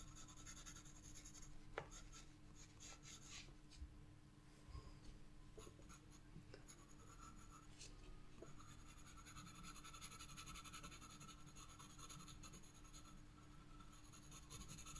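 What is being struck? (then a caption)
Graphite pencil on a paper sketchbook page. A graphite pencil scratches repeated shading strokes across the flat paper surface of a spiral-bound sketchbook page. The clip is a quiet, steady, continuous dry scratching and rubbing with a bright, hissy grain over a constant low hum, with a few brief sharper ticks between strokes.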